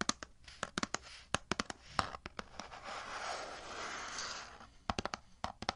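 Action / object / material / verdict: tap / cardboard box / cardboard / none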